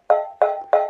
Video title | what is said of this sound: Gaffer & Gear 232 – CAME TV TIOGA Lights & Mixed Products | as you can hear when I tap it the housing is actually one-third empty